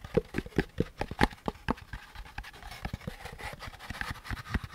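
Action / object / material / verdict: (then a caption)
tap / molded paper pulp packaging insert / paper pulp / none. Fingertips tap and scratch the curved surface of a hollow beige molded paper pulp packaging insert with a central groove. First come quick, dull, hollow taps with a low thump, then a softer, steady scratching rasp with a brighter papery texture.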